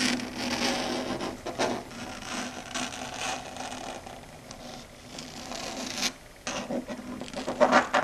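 Long red stiletto nails scratch and tap across a flat dark grey chalkboard surface. Steady, bright rasping scrapes run throughout, broken by a brief near-silent pause around six seconds. They end in a few sharper, louder taps.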